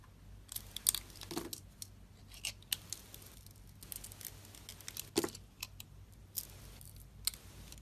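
A metal utility-knife blade carves and slices pieces off a solid pink soap bar with a purple edge layer, held in the fingers of a hand with red nails. Repeated crisp, bright scraping and crunchy cutting bursts come and go over a quiet, steady low hum, with a few sharper snaps as pieces come off.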